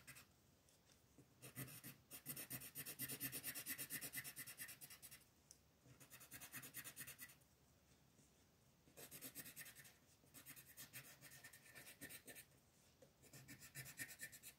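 A green colored pencil held in the fingers shades a flat paper coloring sheet with quick strokes, making a dry, bright, scratchy rasp. The rubbing comes in several bursts of rapid back-and-forth strokes, separated by short quiet pauses.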